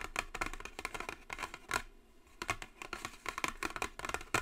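Long fingernails tap and scratch the top of a long, narrow, hollow white Jisen cardboard brush set box. Quick, light, crisp taps come in clusters with short hollow knocks and brief scratchy passes. A softer lull falls in the middle before the tapping picks back up.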